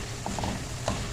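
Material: Nothing is struck.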